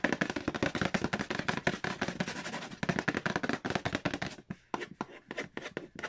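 Fingertips and nails tap and trace over the glossy printed lid of a large, flat, hollow cardboard Payday board game box. A rapid, dense run of short, dry taps and scratches with almost no ring fills the first four seconds, then the taps slow into sparser, separated knocks with brief pauses between them.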